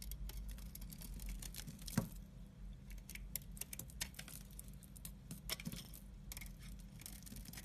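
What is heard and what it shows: A utility knife blade cuts and scrapes thin slices off a solid striped orange, white and black bar of soap held in the hand. The result is a quiet stream of crisp, bright scraping ticks and short cutting clicks over a steady low hum, with one sharper snap near the two-second mark.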